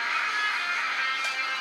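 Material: Nothing is struck.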